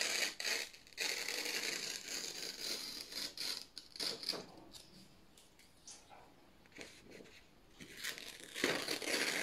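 Fingertips slowly tear a long strip off thin white printed office paper sheets with red marks. The ripping is a bright, crackly rasp of uneven bursts, loud at the start, softer and sparser through the middle, then loud again at the end, with almost no low end.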